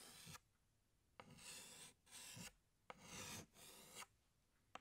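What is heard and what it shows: A hand scratches a green chalk stick across a large, flat, black chalkboard in long drawing strokes. Five separate dry, bright scraping rasps are heard, each about half a second long and separated by quiet pauses.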